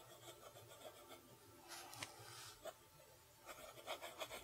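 A steel fountain pen nib writes cursive across a lined page of a spiral-bound notebook. The result is a soft, continuous, bright scratching with irregular strokes and a few short, sharper ticks.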